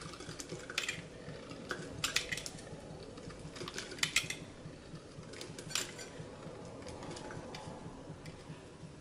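A utility knife blade cuts and scrapes a small, solid bar of dry blue-and-white swirled soap held over a glass bowl, and the shavings collect in the bowl. The sound is a run of crisp, crunchy scrapes and snaps with bright, quickly fading clicks over a steady low rustle.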